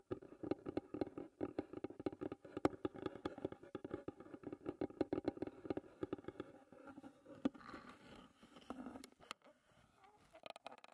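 Long red nails tap rapidly on the lid of a closed, hollow wooden tea box, making quick, dry, hollow clicks with a mid-low resonant tone that stops almost instantly. Near the end, the tapping thins out and the fingers grip the edge of the lid with softer rubbing and scraping sounds.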